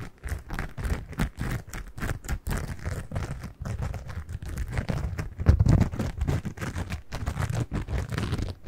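A single yellow cellulose kitchen sponge with a green scouring layer is scratched with long nails and squeezed. The result is a dense run of soft, dull scratchy pulses and crackles, heavy in the low end. The loudest squeeze comes just past the middle.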